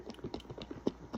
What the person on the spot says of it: You can hear a slight thud on the inside. That means our butter is starting to form.